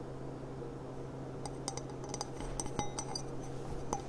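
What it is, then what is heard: Glass cup. A glass cup with gilt trim, a thrift-store find, is tapped about nine times in light, quick clinks over a steady low hum. Each tap gives a brief, bright glassy ring near 830 Hz that fades within about half a second.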